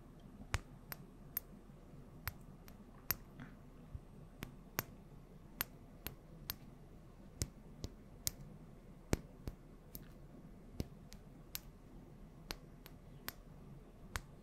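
Long nails tap a small glass bottle of yellow oil with a gold cap in front of a microphone. About 23 sharp, bright ticks land at an uneven, unhurried pace, each dying away almost instantly over a quiet, steady low hum.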